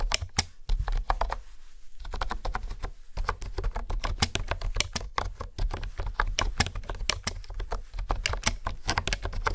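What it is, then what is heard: Plastic keyboard being typed on. Fingertips and nails type and tap on the hexagonal keys of a pink plastic honeycomb keyboard, making a fast run of sharp, bright clicks with brief pauses around the second and third seconds. A steady low hum sits beneath the clicking throughout, and each click dies away almost instantly.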